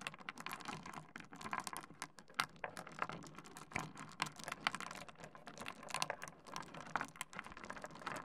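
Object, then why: Small stone pebbles on a wooden desk. A heap of small solid rounded and angular pebbles on a wooden desk is rummaged and pushed around by the fingertips of both hands. The stones clack against each other and the wood in a dense, continuous patter of short, dry clicks. The clicks are bright, with little low end, and each dies away almost instantly.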